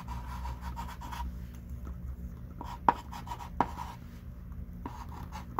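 A hand writes with a thick stick of pink chalk on a small wooden-framed chalkboard lying flat. The result is a run of soft, scratchy chalk strokes with a squeaky tone near 950 Hz, over a steady low hum, and a couple of sharper taps stand out partway through.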